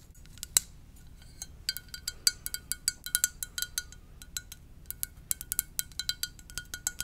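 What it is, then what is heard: Ceramic mug tapped with fingernails. Long dark nails tap the body of a hollow blue and white ceramic mug shaped like a VW bus, held in both hands. About 34 quick, bright clicks come in an irregular run over seven seconds, each dying away almost at once, with a faint high ring near 1.4 kHz under many of them.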